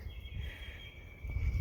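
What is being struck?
Nothing is struck.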